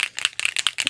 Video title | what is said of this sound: Scrapchat May 2016: Scrap Guilt, My camera set-up, and more! | the more you shake it the ball will release inside of it